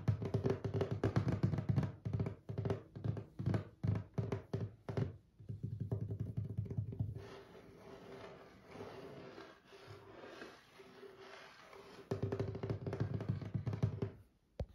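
Fingertips of one hand tap on a solid, dark brown stained wooden tabletop with visible grain. Quick, irregular runs of dull, low thuds with almost no ring fill the first seven seconds, then soften to a quiet, continuous rubbing-like patter, and brisk tapping returns near the end.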